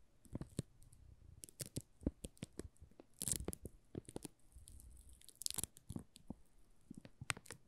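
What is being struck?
Plastic-wrapped soap bar.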